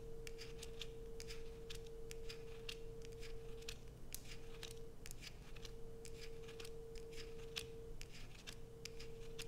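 A solid blue Coast bar soap held in the hand is scratched with long acrylic nail tips, sending curls of soap falling. Quick, crisp, bright scratching strokes repeat steadily over a faint constant hum and low background rumble.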